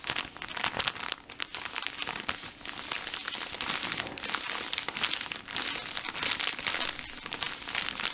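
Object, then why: Plastic film pack of cotton pads. A full, cylindrical blue plastic-film pack of cotton pads is held in both hands while fingertips squeeze and rub the film. It gives a steady stream of bright, crisp crinkles and crackles with almost no low end.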